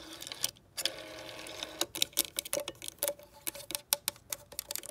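Long decorated nails tap and scratch over the finger holes and centre card of a clear plastic rotary dial with a gold metal rim on a green vintage telephone. Quiet, bright plastic clicks come in an irregular, rapid series with soft scratching between them, each tap dying away almost at once.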